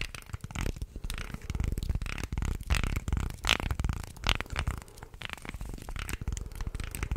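Fingertips and nails bend and flex a light, solid wooden articulated shark toy, about forearm length and hand-sized, and run along its many thin slotted segments close to the mic. The result is a dense, steady stream of rapid dry clicks and creaking rasps with a strong low-end thump and bright, crisp edges.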